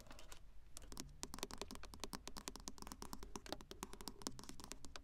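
Long acrylic nails rapidly tap and scratch the flat glass touchscreen of a car's dashboard infotainment unit, set in a plastic bezel and fixed solidly in place, with a small microphone held just above it. The result is a quick, uneven stream of sharp, bright clicks that stop almost instantly, mixed with brief scratchy strokes over a steady low rumble.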